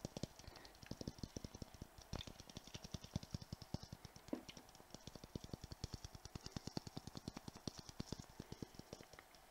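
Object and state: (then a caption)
Glass Christmas ball ornament. A palm-sized clear glass Christmas ball ornament, filled with glittery tinsel and fitted with a metal cap and white tag, is held in one hand and tapped quickly with the fingertips and nails of the other. The result is a rapid, steady stream of short, dry clicks, each with a soft low knock and a bright tick on top, and almost no ring after each tap.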